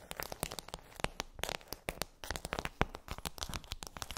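Long acrylic nails tap and scratch across a pink plastic tray covered in rows of raised, hollow, hemispherical bumps. The result is a rapid, irregular run of short, bright plastic clicks and crackly scratching bursts that die away almost instantly.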